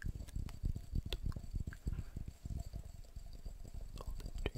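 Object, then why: Glass jar. Fast tapping on a glass jar produces a quick, uneven run of soft, dull thumps that are mostly low in pitch and stop almost instantly. Occasional faint brighter clicks sit above the low taps, all at a quiet level.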